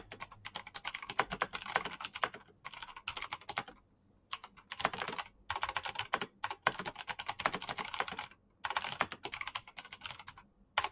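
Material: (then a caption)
Plastic. Fast two-handed fingertip typing on a black plastic mechanical keyboard with green clicky switches. Dense bursts of sharp, bright clicks ring only briefly and are centered in the midrange around 1 kHz, broken by short pauses.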